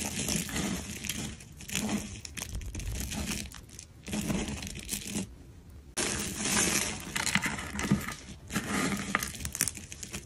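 Fingers with long pink nails rub and crush a large pile of orange-yellow crumbled dry soap curls. The result is a steady, dense crunching and crinkling with bright, high crackle, easing off in brief pauses before resuming.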